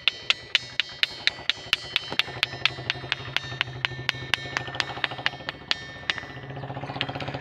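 A small hand-held stone strikes the top edge of a large, solid, granite-like ringing boulder outdoors on a hillside, again and again at a steady pace of about two knocks per second. Each tap gives a sharp, bright, bell-like clink with high ringing tones. Near the end the taps come faster and lighter over a low background hum.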